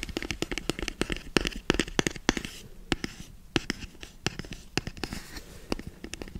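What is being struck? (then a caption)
Rigid cardboard box. A hollow, black rigid cardboard box held upright by the microphone is tapped and scratched with fingertips. A rapid, irregular series of short, dry, hollow taps rings with a low body tone and bright clicky edges, with soft scratching filling the gaps between hits.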